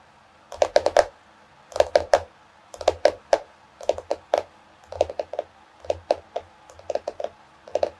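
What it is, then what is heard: Hardcover notebook tapped with nails. Long nails on both hands tap the solid cardboard cover of a small floral hardcover paper notebook. Quick clusters of about thirty dry, clicky taps come in short bursts with brief pauses between them, each tap with a hollow midrange knock around 600 Hz and almost no ring.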